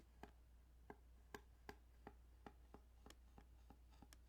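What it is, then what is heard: Plastic game cartridge. Light tapping and scratching on the ridges of a plastic Tetris Game Boy cartridge. Eleven short, dry clicks with a mid tone around 400 Hz sound one after another over a steady low hum, each dying away almost instantly.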